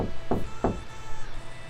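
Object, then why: Wall. Two knocks on a wall, about a third of a second apart, each a short, dull, low thud that dies away quickly. The knocks make vibrations you can hear.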